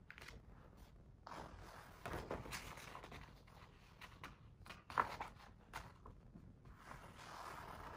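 A large hardcover picture book lies open on a rug while a fingertip traces its glossy paper pages and hands turn the pages. Quiet, breathy swishes and rustles rise and fall throughout, with a brief, sharper papery snap midway through as a page turns.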